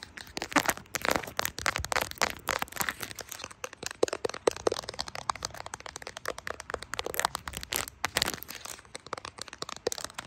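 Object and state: Phone in a plastic case.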